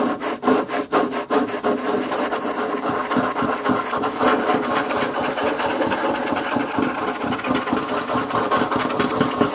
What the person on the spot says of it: Scratching and tapping on wood table